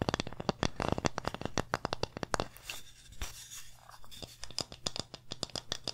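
Long nails tap and scratch the front and labeled back of a small, flat, solid wooden pumpkin-shaped plaque. Fast, sharp, dry clicks with almost no ring come in a rapid run, then give way in the middle to a softer, airy scratching. The tapping returns toward the end, all over a faint steady low hum.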